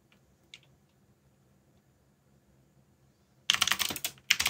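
Fingertips type on a backlit mechanical keyboard with plastic keycaps. After about three and a half seconds of near silence with a faint low hum and one soft click, a rapid, bright clatter of key presses starts, pauses briefly, then resumes. The keystrokes are sharp, clicky and short.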